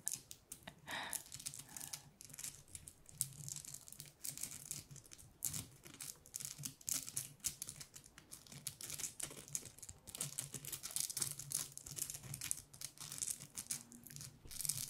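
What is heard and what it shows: A flat openwork gold star ornament made of thin, rigid, glitter-coated plastic is held in both hands and scratched with long painted nails across its glittery surface. The result is a continuous run of dense, bright scratching and crinkly clicks concentrated in the high range, with a faint low hum underneath.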